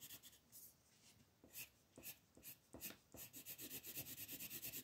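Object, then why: Colored pencil on a paper page. A green colored pencil rubs across a thin white coloring book page lying flat, shading grass in fast sweeping strokes. Each stroke makes a soft, bright, scratchy rasp, starting sparse and uneven, then quickening into a steady rhythmic back-and-forth toward the end.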